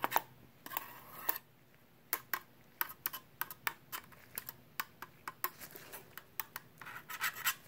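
A pen tip scratches along the edge and surface of a small perforated sheet-metal hard drive caddy, producing a rapid, irregular series of short, bright scratching clicks. Some strokes drag into brief rasping rubs. The sounds are dry and thin with almost no low end or ring, over a faint steady hiss.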